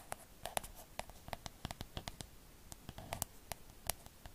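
Long acrylic nails tap and scratch a hollow, pink, cloud-shaped plastic night light held in one hand. A quick, irregular series of sharp, dry clicks comes through, each with a faint hollow tone around 680 Hz and a bright edge, dying away almost instantly. Soft scratching fills the gaps, all at a low, close volume.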